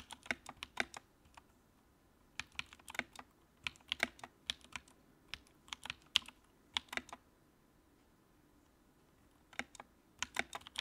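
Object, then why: Plastic mechanical keyboard. Fingertips type on the keycaps of a compact white plastic mechanical keyboard with a backlight. Quick bursts of short, bright, crisp key clicks come in irregular runs, with a pause near the start and a longer quiet stretch before the typing resumes at the end. The sound has almost no low end, and each click stops almost instantly.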